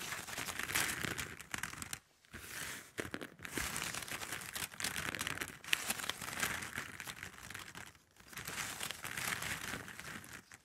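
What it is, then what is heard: Plastic drinking straws. A bundle of hollow plastic drinking straws pressed together is scratched and tapped with long nails. The result is a dense, bright, crinkling scratch with quick dry clicks and almost no low end, broken by brief quiet gaps near 2 and 8 seconds.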